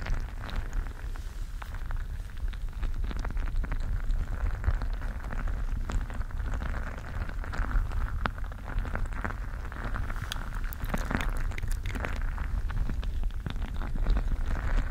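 A colorful, gel-bead-filled mesh squishy stress ball is squeezed with both hands against the microphone. It makes a steady, dense stream of wet, crackling squelches and tiny popping ticks over a heavy low rumble, with brief brighter snaps scattered throughout.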